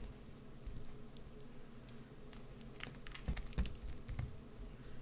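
The inside of a hollowed green soap bar, held in the hand, is scraped with a white-handled carving tool. Quiet, irregular scratchy clicks and soft crumbly scrapes run over a low, steady rumble, with a few sharper, brighter scrapes toward the end.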